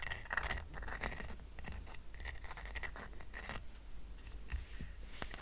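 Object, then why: Woven rattan coaster. Fingertips scratch and tap the woven surface of a small, round, flat woven rattan coaster held up in the hand. The result is a dense, dry, crackling scratch broken by short, quick taps, with a faint steady tone around 1.9 kHz and a soft low rumble underneath.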